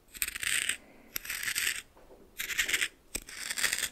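A red plastic spoon stirs coarse salt in a small bowl, making four bursts of bright, gritty crunching and scraping separated by short pauses. Some strokes begin with a sharp tick, and the sound is almost entirely high with very little low end.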